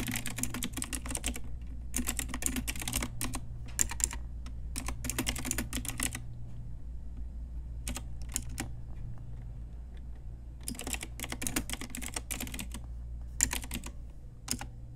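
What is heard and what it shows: A full-size pink retro typewriter-style Ajazz mechanical keyboard with round plastic keycaps and backlighting sits on a desk beside a pink wrist rest. Both hands type on it with fingertips and long nails. Bursts of quick, bright plastic key clacks alternate with short pauses over a steady low hum.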